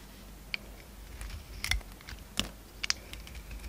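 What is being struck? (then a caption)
Bar of soap shaved with a steel blade. A solid oval bar of soap with a red marbled coating and pale orange inside is held in the palm while a steel utility knife blade shaves the coating off into curled shavings. Quiet, irregular, crisp bright clicks and short scraping cuts sound over a faint low hum, each cut dying away almost instantly.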